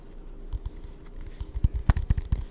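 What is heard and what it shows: Fingertips and nails scratch and tap the base and sides of a hand-sized, hollow, translucent orange-brown plastic gummy supplement bottle with a paper label, held in both hands and apparently filled with gummies. The result is soft, dull, low thumps and light scratching that die away almost instantly, with no ring.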